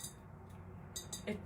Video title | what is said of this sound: DIY Skull Bottle Makeover - Thrift Flip with Checks, Bling & Sparkle Home Décor | This is not ceramic though. This is metal.